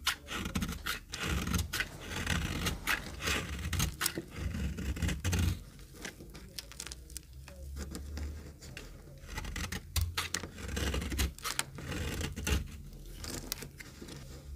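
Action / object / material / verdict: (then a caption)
scrape / bar of soap cut with a metal knife / soap / none. A metal knife shaves and cuts crumbly flakes from a very dry, oval, solid green retro soap bar held in the palm, with other soaps lying untouched nearby. Rapid, dry scraping and crisp crunchy cuts come in quick bursts, with a softer, quieter stretch in the middle before the steady shaving picks up again.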